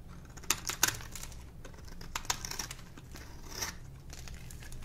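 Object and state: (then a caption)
Dry soap bar. A metal blade scrapes and carves the face and edge of a solid, dry pink soap bar held in the hand, and shavings fall off. Crisp, bright scraping and crunching comes in irregular bursts with a few sharper clicks, over a faint low hum.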